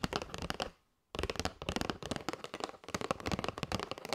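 A flat kraft cardboard box with a clear plastic window showing paper straws is held and tapped with long white nails. Quick, dry, crisp taps come in dense bursts. A brief silence just before the one-second mark is followed by steady, rapid tapping.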